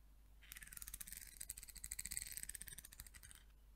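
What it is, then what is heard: Wooden comb strummed with nails. A solid curved peach wood comb is held by its handle while long nails strum and scratch across its teeth, with some knuckle tapping on the comb. Quick, dry clicks and bright scratchy rasps run in a dense rhythmic flurry for about three seconds, then fade out.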